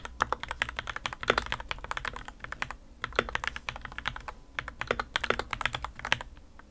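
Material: Plastic.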